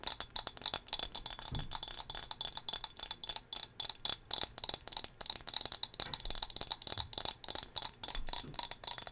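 A small, solid turquoise glass whale figurine is held in the hand and tapped rapidly with long fingernails. It makes a steady stream of quick, bright, glassy clicks and clinks that die away almost instantly, with very little low end.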